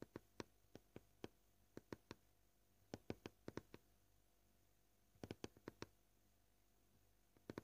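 Fingernails of both hands slowly tap a flat, solid white plastic cutting board, giving 22 short, dry clicks with almost no ring. The taps come in loose, uneven clusters separated by quiet pauses over a faint steady hum.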